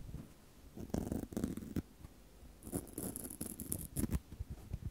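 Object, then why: Foam microphone windscreen. Long decorated false nails rub and scratch two small black foam microphone windscreens held in the hands near a recorder. The result is soft, porous, muffled scratching and brushing with bursts of crackly texture, some faint high hiss, and brief quiet pauses between them.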